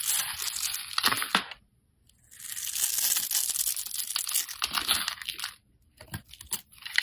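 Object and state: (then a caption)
Soap bar being carved. A metal utility-knife blade scrapes and cubes a solid, rounded, hand-sized green soap bar into crumbly pieces. Bright, crisp scraping and crunching comes in dense bursts with almost no low end, broken by two short silent pauses. It ends in a few sharp cuts.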